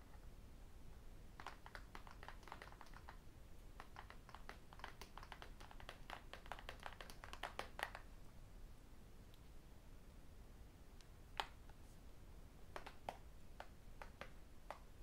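Fingertips wearing metal rings tap and click on the edges and glass screen of a thin, solid, flat tablet with an aluminium back, the rings also knocking against it. Quick, dry, bright clicks come in dense bursts for the first eight seconds, then pause and return as sparser taps, all over a steady low background hiss. Each tap dies away almost instantly.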